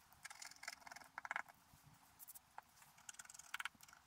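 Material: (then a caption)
Coated paper. A wooden stylus scratches the black coating at the bottom of a flat scratch art sheet lying on a table. Quiet, dry, bright scratching comes in short bursts of quick scrapes and ticks, with a faint steady low hum underneath.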